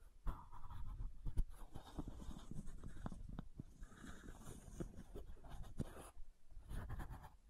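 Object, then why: Plastic bottle cap. Long nails scratch along the ridged cap of a white plastic supplement bottle held sideways. The result is a quiet, continuous, low-heavy rasping texture punctuated by short, sharp clicks as the nails catch the ridges.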